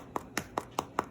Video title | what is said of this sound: Super-Easy Yeast Bread Rolls | check them by turning them over, tapping the bottom. It should sound hollow.